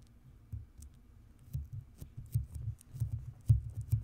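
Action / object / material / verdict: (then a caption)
tap / metal mesh microphone grille / metal mesh / none. Long manicured nails and fingertips tap, scratch and rub across the hollow, rounded metal mesh grille of a large white studio microphone, which may have sticky tape residue on it. The result is a quiet, uneven run of soft, low, muffled thumps, each carrying faint bright ticks and scratchy clicks. It grows louder toward the end.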